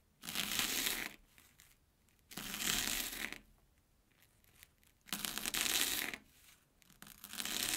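A steel kitchen knife slices thin pieces from an airy Banana Kick corn puff stick resting on an orange plastic board. Four bursts of bright, crunchy crushing cuts are each separated by a short quiet pause, with the last cut still going at the end.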